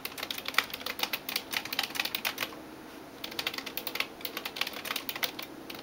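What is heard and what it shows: A hand types rapid taps with fingertips and nails on the keys of a backlit plastic computer keyboard. Bright, sharp clicks follow one another in quick bursts, with a brief pause just before the midpoint. Each click dies away almost instantly with very little low end.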